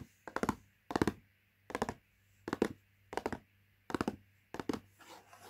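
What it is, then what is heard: Cardboard food box. A latkes mix cardboard box lies flat while fingertips and nails tap rapidly on its front panel. Seven short bursts of quick, dry, hollow taps are separated by brief pauses. A softer scratchy rustle ends the clip.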